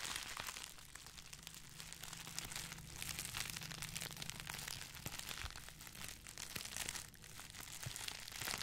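Fingers squeeze and crinkle two hand-sized bundles of clear plastic bubble wrap, each hollow and cone-shaped and held one in each hand near the microphone. The result is a quiet, continuous stream of dense, bright crinkling and crackling that swells and eases, over a faint steady low hum.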